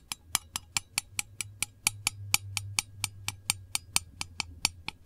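Long nails tap the lid of a small, round, hollow printed metal candle tin 23 times in a steady rhythm. Each tap is a short, bright click that dies away almost instantly, over a faint low hum.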